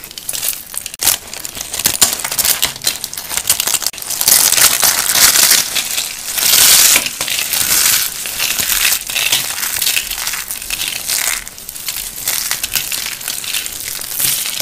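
Bare hands squeeze and crush a round yellow and gold dry soap curl set, made of small hollow rolled tubes, into crunchy flakes and crumbs over a white surface. A dense, bright crackling crunch runs throughout with almost no low end, swelling into louder sustained bursts in the middle. Each snap dies out almost instantly.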